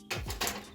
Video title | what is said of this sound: #snackhack Satisfy Your Cravings Guilt-Free: The Best Recipe for Homemade Kale Chips! 😋🌱 | kale chips guys you can hear how crispy they are